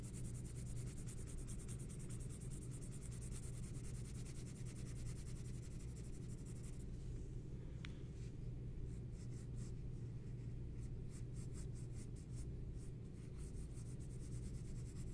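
A green pencil scratches strokes across a large, flat sheet of white drawing paper on a table while drawing a portrait. Soft, continuous scratching rides over a steady low hum; the strokes become sparser and more separated after about seven seconds, with one brief sharp tick.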